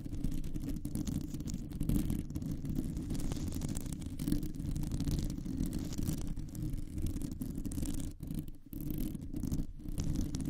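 Long nails scratch and tap across a round, hollow metal mesh microphone grille, producing a dense, continuous low scraping rumble concentrated in the bass. The texture stays steady throughout, with a few brief drops in level near the end where the nails pause.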